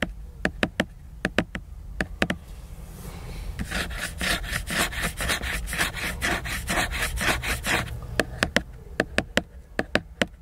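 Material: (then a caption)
Laminated board. Fingertips tap a solid, glossy laminated hardcover book cover in quick, sharp, dry knocks. The tapping gives way to a stretch of rhythmic fingernail scratching across the cover, a bright, raspy rubbing. The tapping then returns to close the clip.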